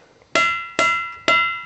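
An igneous rock boulder at the Montana Ringing Rocks site is tapped lightly with a hammer three times. Each strike gives a clear, bell-like clang with a steady high tone around 2 kHz that rings on and fades before the next hit.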